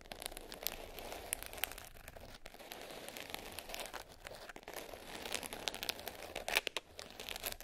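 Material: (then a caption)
Glitter. Long nails tap and scratch across the surface of a small black glitter-covered hard case, closed and lying flat. The result is a dense, bright, gritty scratching texture, like crinkling, broken by quick, sharp taps that die away almost instantly.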